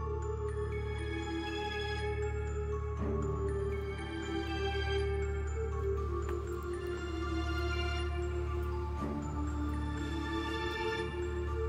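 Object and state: Nothing is struck.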